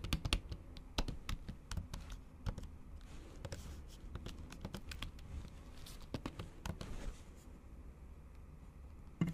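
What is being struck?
Plastic laptop keys under a thin silicone cover, typed with long nails.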